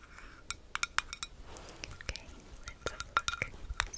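A small, round metal Vaseline lip balm tin with a green lid, closed and held close to the mic, is tapped rapidly with long acrylic nails. The result is a quick, irregular series of bright, dry clicks and clinks with almost no ring, centered around 1.4 kHz over a faint background hiss.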